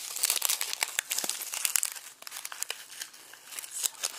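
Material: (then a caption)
Onion skin. Fingertips squeeze and crumple dry, papery onion skins through a red plastic mesh produce bag, loosely filled and resting on a bamboo cutting board. Dense, crisp crackling and crinkling fills the clip with bright, dry texture, sharp little snaps and almost no low end.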